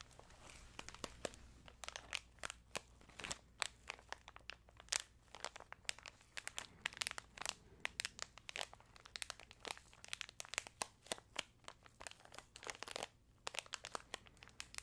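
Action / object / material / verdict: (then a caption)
scrape / plastic snack pouch / plastic / none. A small orange-printed plastic snack pouch with pretzels inside is held in both hands close to the mic and crinkled and squeezed with fingertips and long nails. Dense, sharp, bright crackles and crinkles fire off in rapid, irregular bursts for about fifteen seconds, each one dying away almost instantly.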